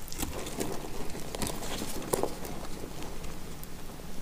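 A box-cutter blade shaves dry flakes off a partly cut, solid, dry yellow soap bar held in the hand. Soft, crackly scraping and crinkling runs throughout, broken by faint brittle snaps and one sharper click near the middle.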